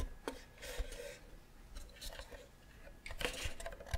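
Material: Wood.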